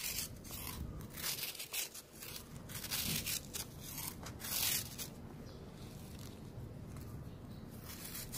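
A metal knife blade scrapes down the edge of a hand-held, solid, brown, crumbly round disc of compacted sand, cement and cornstarch powder, shaving off crumbling powder. Irregular strokes of bright, gritty scraping and rasping repeat throughout, with a soft crumbly hiss as the powder falls away.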